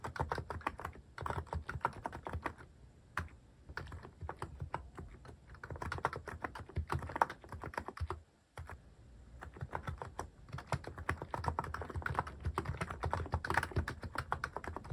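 Fingertips type steadily on a cream mechanical keyboard fitted with sculpted plastic cat and paw keycaps. The result is a dense run of short, clacky key strikes with a deep, rounded thock and almost no ring, pausing briefly about halfway through before resuming.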